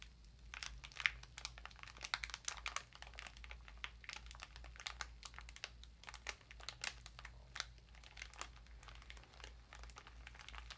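A small bath sponge in a clear plastic wrapper is held and crinkled with both hands and long nails. The result is a quiet, steady stream of bright, crisp crinkles and sharp crackles over a faint low hum.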